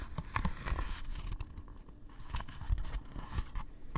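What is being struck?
Leather-wrapped hardcover book cover.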